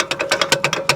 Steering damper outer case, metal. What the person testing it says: it's a bit loose, and as you're going, what will happen is it will give you a bell sound, and it sounds like the ice cream man is coming